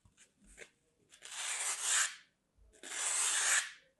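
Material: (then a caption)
Floral foam. A palm-sized, flat solid slab of dry green floral foam is held in one hand and scored with the tip of a metal craft blade, scratching and cutting into its surface. After a few faint light scrapes, two long, bright, hissing rasps follow, each about a second and a half, separated by a short pause.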